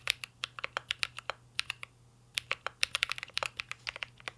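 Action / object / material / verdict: tap / mechanical keyboard with metal case and plastic keycaps / plastic, metal / none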